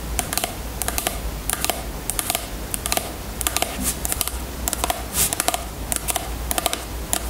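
Long natural nails tap and scratch the sides of a small clear plastic bottle of jojoba oil with a white cap, full of yellow oil and standing on a table. Quick, bright plastic clicks come in clustered bursts over a steady low hum, with a few softer scratching passes between them.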